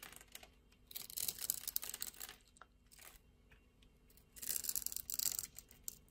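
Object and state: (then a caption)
Glycerin soap bar scraped with a blade. A metal utility-knife blade scrapes across a palm-sized, solid, translucent red glycerin soap bar with a grid-scored surface, held in a hand with long painted nails, popping off small cubes. Two longer bursts of bright, crisp crunching and crackling, like tearing, are separated by quieter, scattered dry clicks, with almost no low end and no ringing after each snap.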